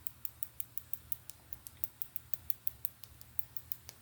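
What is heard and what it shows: An iolite crystal is tapped in a quick, steady series of light taps, each a sharp, bright tick that dies away almost instantly. A low hum sits underneath throughout.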